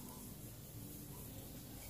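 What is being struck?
Nothing is struck.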